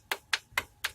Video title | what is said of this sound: Vitz 2006г стучит двигатель | вообще болтается вот он стук так